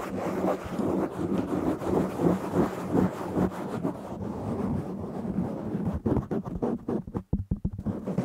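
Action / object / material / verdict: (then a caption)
scrape / foam microphone windscreen / foam / none. Fingertips and short nails scratch and rub the surface of a medium-sized, soft, hollow-backed black foam windscreen covering a microphone. The result is a dense, muffled rumbling rustle, concentrated in the low and low-mid range with a steady tone near 180 Hz. In the last couple of seconds it breaks into choppier, separate strokes with brief gaps of near-silence.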